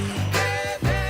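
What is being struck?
Nothing is struck.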